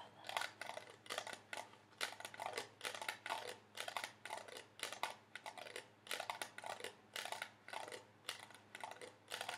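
A hollow, apparently empty red plastic party cup, held in one hand, is tapped rapidly with the fingernails of the other. The result is quick bursts of bright, clicky taps with a hollow plastic tone around 880 Hz. Each tap dies away almost instantly.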